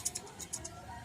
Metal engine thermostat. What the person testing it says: May tumutunog na sa loob, umakalansing.